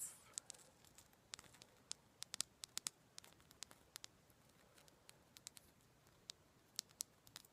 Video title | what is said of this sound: ASMR Sound Assortment: Tapping, Sticky Fingers, Crinkly Sounds, and More! | This is rose quartz. And I just really like that sound of the tapping on it.